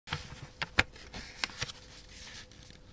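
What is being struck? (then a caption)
Thin sheet of origami paper. Fingertips and nails press and rub along the fold of a thin square sheet of pink origami paper, folded into a triangle and lying flat on a black surface, to crease it. Short, crisp, bright paper crinkles and scrapes stand out against a soft rustle, with a faint steady hum underneath.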